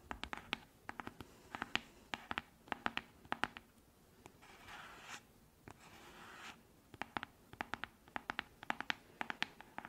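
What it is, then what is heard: Plastic cosmetic jar. Long manicured nails tap and scratch a small, round, yellow-green cosmetic cream jar with a cream-colored screw lid, probably plastic but possibly frosted glass, which looks full and is held in both hands. Quick bursts of sharp, bright clicking taps with almost no ring fill the clip. Two stretches of soft, hissy scratching across the jar's surface break up the tapping in the middle.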